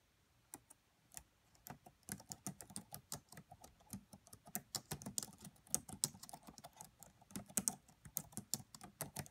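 Long nails and fingertips tap on the black plastic keys of a red laptop keyboard. Quiet, sharp, bright clicks come in an irregular stream, sparse at first and then steady and rapid, each dying away almost instantly with a faint low thud beneath.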